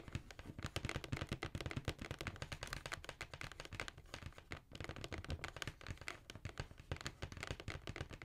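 Long nails and fingertips tap on the side of a hollow black cardboard Jordan shoe box held upright. The result is a rapid, continuous stream of short, dry hollow knocks with a deep boomy body and clicky bright edges, barely pausing except briefly near the middle.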